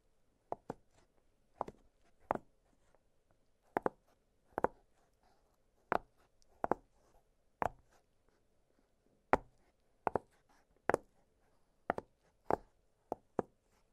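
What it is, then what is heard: Silicone pop-it fidget toy. Fingertips press the bubbles of an octagonal blue silicone push-pop fidget toy, producing 20 soft, dry pops spaced irregularly across the clip. Each pop is a short, hollow click centered in the upper mids with a quick, bright edge that dies away almost instantly, and the pauses between them are very quiet.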